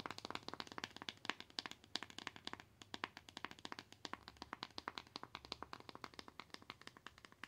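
Long acrylic nails tap and scratch a small white cardboard box with a barcode label, making a rapid run of dozens of sharp, dry clicks. The taps are bright and crisp with almost no ring or low end, with a soft scratching texture between them.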